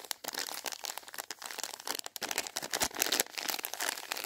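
Fingertips and painted nails rub, press and crinkle a filled Double Dip plastic film candy packet. The result is a steady, bright crackling of thin plastic, with dense sharp crinkles and almost no low end.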